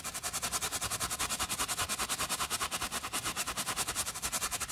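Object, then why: Woven fabric sneaker tongue and laces scrubbed with a bristle brush. A wooden bristle brush scrubs the woven textile tongue and laces of a white fabric sneaker, held in a gloved hand, with soapy foam in short strokes. About 25 quick, steady brushing strokes make a bright, hissy scratching rhythm with a wet foamy texture and little low end.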